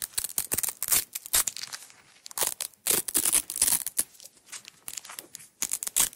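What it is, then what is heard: Nylon hook-and-loop tape being peeled. Long nails pull and peel a red nylon hook-and-loop tape roll and its unrolled strip. The result is a series of bright, crackly ripping bursts of varying length, separated by short quiet gaps, with almost no low end.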